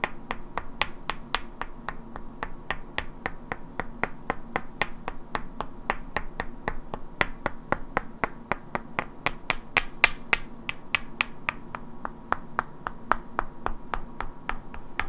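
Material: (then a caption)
Wood. Two identical hand-sized solid wooden cubes painted with black characters are held in both hands and knocked and clicked against each other, while long natural nails tap their edges. About fifty sharp, dry clicks come at a steady but slightly uneven pace, each dying away almost instantly with a bright knock near 2.4 kHz. A low, quiet hum sits underneath.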